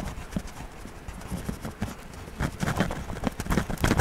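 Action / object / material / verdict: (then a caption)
scrape / wax crayon on paper coloring book page / paper / none. A hand scratches a yellow wax crayon back and forth across an open paper coloring book page lying flat while coloring. The result is a series of short, dull, scratchy strokes in a steady rhythm that grow louder and denser in the second half.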